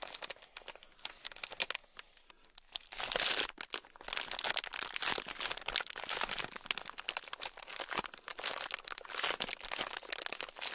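A small sealed clear plastic bag packed full of tiny gold beads is scratched with a thin black stick, then rubbed with fingers. It makes dense, bright crinkling and crunching with rapid clicks of shifting beads, starting softer and growing louder and fuller after about three seconds, with little low end.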